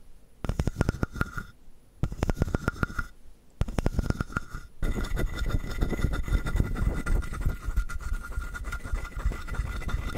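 Fingertips scratch and tap the surface of a palm-sized hollow carved wooden frog. Three short bursts of fast, dry ticking give way to continuous rough scratching, deep and woody with a faint ringing midrange tone.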